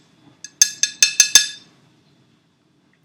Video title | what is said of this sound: Making a carbohydrate glass scaffold to 3d print vascular tissue | quite hard name sounds like glass